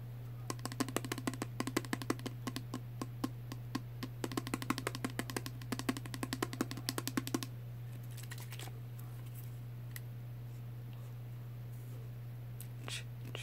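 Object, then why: Small plastic perfume spray bottle with liquid. A small pink plastic Body Fantasies perfume spray bottle with liquid inside, held in the hand, is tapped with fingernails on its body and cap. Quick, dry clicking taps come in a rapid irregular run for about seven and a half seconds over a steady low hum, then stop, leaving only a few faint handling sounds.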